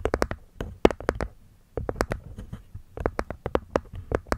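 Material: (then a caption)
Wood, cork. Long nails tap and scratch the cork top and wooden rim of a small, hollow, hexagonal light-wood box with a cork lid. Quick, dry taps come in clusters with brief soft scratching between them and a short pause near the middle. Each tap has a muted, hollow knock with almost no ring.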